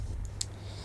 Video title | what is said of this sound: My new APU upgrade | it kind of sounds like glass